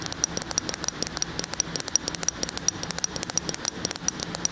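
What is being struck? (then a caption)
Glass jar filled with spread. A medium glass jar filled with a tan, peanut-butter-like spread is held tilted and tapped with fingernails on the glass. About 35 rapid, bright clicking taps with a high glassy tone each stop almost instantly, over a faint low hum.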